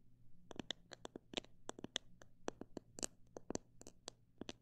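A fingernail taps on a plastic bottle holding parrot seed, giving 18 short, sharp, bright plastic clicks at an uneven pace with almost no ring. A faint low hum runs steadily underneath.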